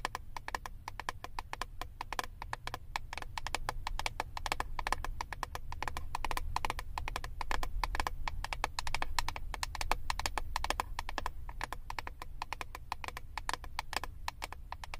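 Long acrylic nails rapidly tap and scratch the clear plastic lid of a flat eyeshadow palette held above the microphone. The result is a dense, continuous stream of short, dry plastic clicks with a hollow midrange tone, set over a steady low rumble. The sound grows slightly louder toward the middle.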